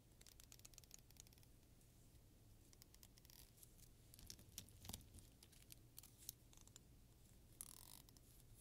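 A medium-size solid black plastic pocket comb is held in both hands and bent while fingertips and long nails run and scratch across its teeth. The result is quiet, rapid, bright ticking and scraping bursts over a steady low hum, with a few sharper clicks and a brief airy rasp near the end.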